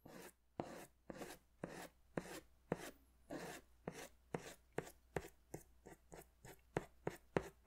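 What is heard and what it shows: A green pastel crayon is drawn in scratchy strokes across a large white paper sketch pad held in one hand. Seventeen short, dry, rasping strokes are heard, with brief pauses between them that grow shorter and quicker toward the end. Each stroke is a quiet, broadband scratch with a sharp onset and almost no ring.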